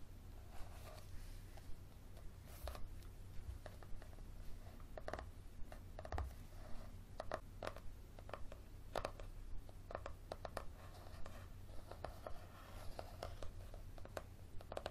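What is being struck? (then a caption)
Paperback book page edges, paper. Fingernails scratch and rub along the paper page edges of a thick paperback held flat, with the page block facing out. Short, dry scratching strokes recur irregularly over a steady low hum, each one a brief papery rasp with no ring.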